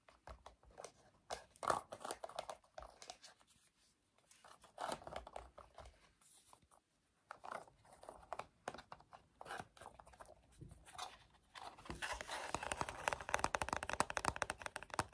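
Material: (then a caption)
Plastic. A hollow black plastic TV remote with rubber buttons is held and handled while its back is rubbed and scratched with the fingertips. Quiet, irregular bursts of dry, crackly scratching and rustling come with short pauses between them, then build into a denser, continuous scratching toward the end.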